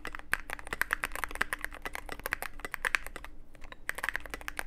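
Fingertips of both hands type continuously on a Cyberboard mechanical keyboard with plastic keycaps and a dark case. Rapid, crisp, bright clicks and clacks tumble together with a short lull just before the four-second mark before the typing resumes.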